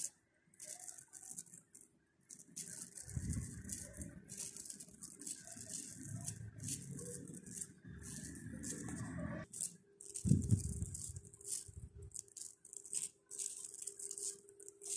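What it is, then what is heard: Plastic bead necklace rattled in the hand. A pink plastic pearl bead necklace is bunched in the hand beside the microphone while the fingers shake and rub the beads together. Bright, clicking rattles come in uneven bursts over a low, rumbling handling noise, with brief pauses near the start and around the middle.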